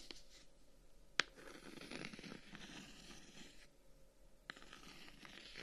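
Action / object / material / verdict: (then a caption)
scrape / closed wooden folding fan / wood / none. A handheld closed folding fan with reddish-brown wooden guards is tapped and scratched with fingertips along its wooden surface. Quiet, bright scratching and rasping runs through the clip, broken by two sharp, short taps.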